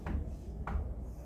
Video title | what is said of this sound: Clase 24 de FisiopatologÍa | Abajo de esto hay sólido, ¿verdad? Abajo de esto hay cemento.